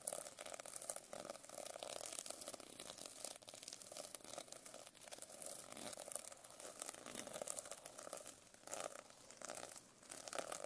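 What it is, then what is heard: Sequin-covered notebook. A metal pen scratches and taps across the plastic sequin cover of a notebook. The result is a continuous quiet, bright, crinkly rustle of many fast, dry clicks with no low end and no ring.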